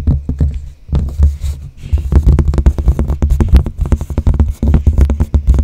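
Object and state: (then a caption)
Cork board tapped and scratched. Long blue-painted nails on both hands scratch and tap the cork surface of a large, flat cork bulletin board with a light wooden frame, held close in front of the microphone. The result is a dense, rapid run of short, dull thuds and soft scratches, deep and muffled, with each tap dying away almost instantly.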